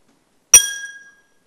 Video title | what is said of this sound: [BBS 띵작 몰아보기]김원수법사 ②금강경의 핵심 제4분~12분 - 김원수의 새로운 불자로 태어나는 금강경 4강-6강 (2016년) | 종소리 비슷한 아주 맑은 소리가 나는